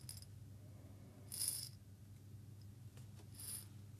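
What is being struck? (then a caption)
Small glass jar with loose seeds. A small clear glass jar holding a little loose content of small seeds is held in both hands, then tilted and shaken so the seeds rattle. Two bright, gritty bursts of rattling stand out over a steady low hum, with quieter shuffling between them.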